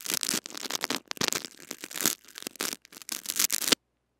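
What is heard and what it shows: Small white brush bristles scratch and sweep across the head of a small metal-mesh mini microphone with a blue body, wrapped in clear cling film and held in the fingers. The result is a dense run of bright, crinkly scratching and rustling bursts with brief pauses, ending abruptly in silence just before the four-second mark.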